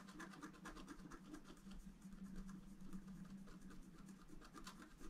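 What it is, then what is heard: Scratch art paper being scratched. A wooden stylus scratches a fountain column into a flat, black-coated scratch art paper card. The result is a steady, dry scratching with repeated bright rasping strokes over a low hum.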